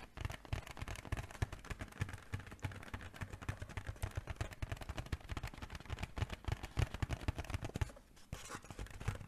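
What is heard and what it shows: A sheep-shaped, silver mylar foil balloon, hollow and inflated, is held in both hands and tapped rapidly with long painted nails. The result is a dense, continuous patter of short, dry, hollow thumps with a low, drum-like body and faint crinkly edges, with a brief lull near the end before the tapping resumes.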